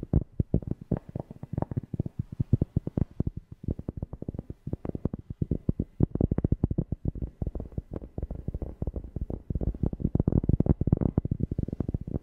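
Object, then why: Cork object. A cork object is tapped rapidly and repeatedly close to a FIFINE K690 microphone, producing a steady stream of deep, bassy thumps. The taps are short and dry, centered low around 82 Hz, with almost no high-end content.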